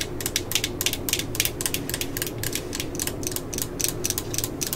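Long nails rub and scratch the ribbed chuck and clutch ring of a yellow and black plastic cordless drill held close, and tap its housing. The result is a rapid, steady series of short, bright ratcheting clicks over a faint low rumble, with a main pitch around 2.4 kHz.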